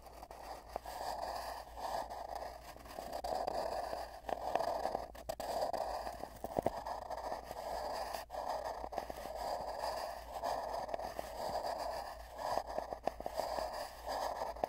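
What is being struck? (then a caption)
Cardboard tube. Both hands rest on a long, hollow, empty cardboard tube, heard from inside it, as fingertips lightly tap and rub its surface. The rubbing swells and fades in waves of hollow, resonant scraping centered in the midrange, scattered with short, sharp taps over a faint steady hum.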